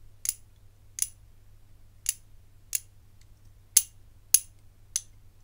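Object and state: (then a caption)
Metal bangle tapped with fingernails. A medium rigid hinged bangle of gold-tone metal with black enamel panels, held in one hand, is tapped and scratched by the fingertips and long nails of the other hand. Eight short, bright clicks sound at uneven intervals, each dying away almost instantly, over a faint low hum.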